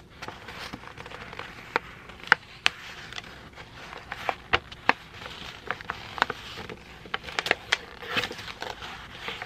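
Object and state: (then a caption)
Sheet of printer paper being crinkled. A thin white sheet of printed printer paper is folded and crinkled between the fingertips of both hands. A continuous soft rustle is broken by sharp, bright crackles and snaps that die away instantly, with almost no low end.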